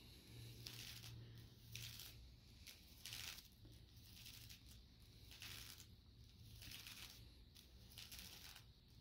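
Fingertips tap and scratch the surface of shiny black PVC leggings worn on the legs, where the soft, thin sheet stretches over the thighs. Irregular bursts of bright, crinkly hiss and scratching rise and fall over a steady low hum. The strokes are quiet and uneven in rhythm.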